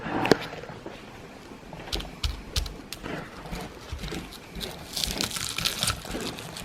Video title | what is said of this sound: THE CRISPIEST FRIED FISH EVER! (Best Yellow Batter) | look how crispy this fish is